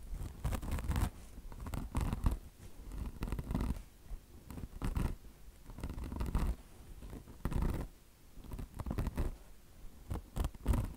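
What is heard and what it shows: Long blue-painted nails scratch the coarse polyester mesh top of a bone-shaped car wash sponge, soft foam with a chenille microfiber fringe, resting on a marble surface. Irregular bursts of rough, rasping scratches come and go with short pauses between, carrying a dull low rumble underneath and some bright upper texture.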